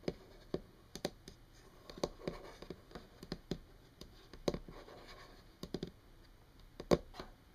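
Long painted nails on both hands tap a solid, flat brown wood-grain tabletop. Quiet, irregular clicky taps land in loose clusters, with soft scratchy rustling between them. Each tap is dry and dies away almost instantly.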